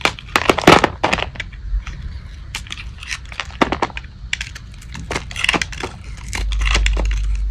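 A metal blade shaves curled, crunchy strips from a solid light-blue dry Old Spice soap bar held in the palm. Irregular, bright, crisp crackling scrapes come in quick bursts over a low background rumble. A denser, steadier rasp builds toward the end.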